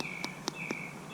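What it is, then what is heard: Hollow-sounding but underbaked bannock bread. Bannock dough cooked on a stick over a fire is tapped a few times to test whether it is done, giving short, light, hollow-sounding knocks over a steady high-pitched tone. Despite the hollow sound, the bread turns out still a bit doughy in the middle, so the tap did not show it was baked through.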